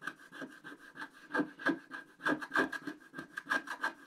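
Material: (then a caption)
Coated paper. A wooden stick held at a low angle rubs and scratches the coating off a flat, black-coated scratch-art paper sheet. About 13 short, uneven scraping strokes come in a loose rhythm, each a dry, raspy rub with a low-mid body, a steady mid-range squeak and a bright hiss on top. The strokes stop quickly, leaving only a soft background between them.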